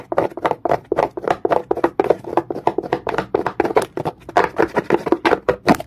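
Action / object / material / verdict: scrape / rough stone / stone / none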